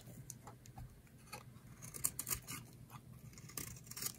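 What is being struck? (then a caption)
Bar of soap carved with a knife blade. A utility knife blade carves a solid rectangular green bar of dry soap held in the hand, shaving off curls. Quiet, crisp scraping and cutting sounds come in short bright bursts over a faint low hum, with sharper cracks now and then.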